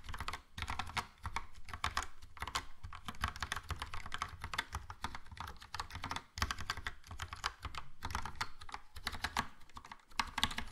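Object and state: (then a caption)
Plastic mechanical keyboard with round keycaps. Fast continuous typing with both hands' fingertips on a Logitech POP Keys wireless keyboard, which has a yellow plastic frame, round dark grey plastic typewriter-style keycaps and hollow key switches. Rapid, dense clacky keystrokes combine bright clicks with a hollow low thump, each dying away almost instantly, with brief lulls around 0.5, 6.3 and 10.3 seconds.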